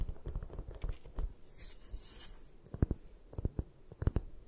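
Long nails tap and scratch a solid white block of gym chalk resting on a table. Quick, dry, dull taps with almost no ring are broken up midway by a soft, bright scraping hiss, then sharper taps return toward the end.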